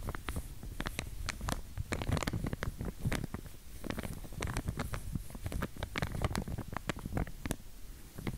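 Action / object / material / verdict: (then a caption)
scrape / plastic comb in a plastic sleeve / plastic / none. A pink wide-tooth plastic comb, still in its clear plastic sleeve and held in one hand, is scratched and flicked along its teeth by long nails. Quick dry clicks and crinkly scratches come in a steady, uneven patter, each with a bright snap over a low, muffled rustle of the wrap.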